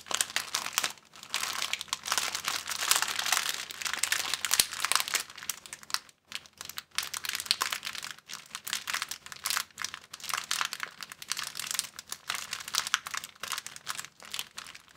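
A thin, empty clear plastic bag is crumpled with the fingers of both hands. It makes dense, bright crinkling that runs almost continuously in bursts, with brief pauses around six and seven seconds.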